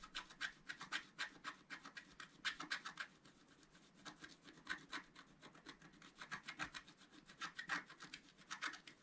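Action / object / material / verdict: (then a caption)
scrape / coated scratch art paper card scratched with a wooden stylus / coated paper / none. A wooden stylus scratches near the lower left of a flat scratch art sheet, black coating on paper. It makes a quick, uneven run of short, dry scratching strokes, about four per second, each with a bright, hissy rasp and little low end. The strokes are quiet, with a few louder bursts.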